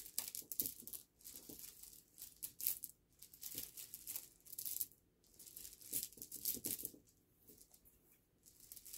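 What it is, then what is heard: Pile of small river pebbles. Both hands rub, rake and shuffle a pile of small, smooth, solid river pebbles against each other on a black cloth. The result is a quiet, bright, dense clicking and rattling that comes in bursts with short pauses between them.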